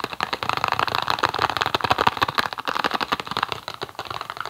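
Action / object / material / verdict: tap / small cardboard box / cardboard / none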